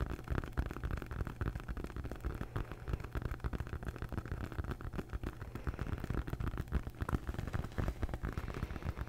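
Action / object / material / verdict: scrape / rolled foam yoga mat / foam / none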